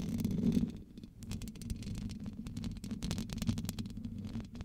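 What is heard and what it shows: Long acrylic nails tap and scratch the black metal mesh grille of a large blue USB studio microphone with a hollow head. The result is a low, boomy rumble from about 50 to 250 Hz, overlaid with many quick, dry clicks that die away almost instantly.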